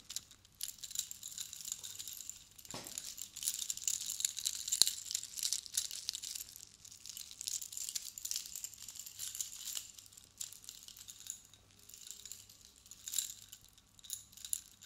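A silver metal chain necklace with many hollow-looking metal cone spikes is held in a hand while long blue-painted nails tap and flick the spikes, and the hand shakes them so they clink against each other. The sound is a quiet, dense stream of bright, high, crinkly metallic clicks and jingles with almost no low end and no lingering ring, with a few sharper taps standing out.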